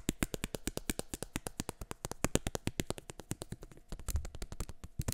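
Fingertips and nails rapidly tap and flick the frame of a pair of black plastic eyeglasses held by the arms close to the mic. The result is a steady stream of short, dry clicks, each with a low thump and a bright tick that dies almost instantly. Near the end there is a brief, fuller low rumble.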